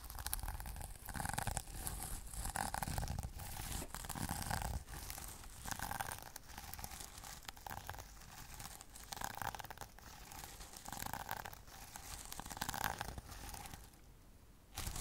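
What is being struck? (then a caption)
Sequin-covered fabric pouch. A flat sequin-covered pouch is scratched and brushed with fingernails, giving a dense, continuous crinkly scratching with strong low rumble and a steady midrange rasp. The rustling rises and falls in waves, drops to a quieter stretch near the end, then briefly picks back up.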